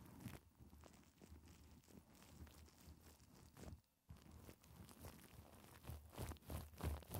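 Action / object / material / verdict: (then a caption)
scrape / faux fur microphone windscreen / faux fur / none. Long decorated acrylic nails on both hands scratch and rub through a hand-sized, fluffy black and white faux fur windscreen sitting soft and hollow over a microphone. The result is a steady, muffled, low rumbling scrape with quick repeated rustling strokes, a brief near-silent pause around the four-second mark, and louder, brighter scratching toward the end.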